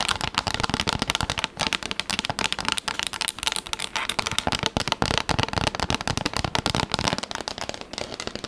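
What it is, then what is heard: Plastic tablet case. Long acrylic nails tap quickly on a pink textured plastic tablet case held in front of the face. The result is a rapid, dense stream of dry, bright clicks and crackles with no ring after each tap.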